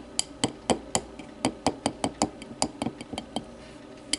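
Long matte nails tap the rim and wall of a small, empty, clear glass whiskey tumbler lying on its side. There are 16 short, bright clinks in an uneven rhythm, each with a faint high ring that dies away almost at once.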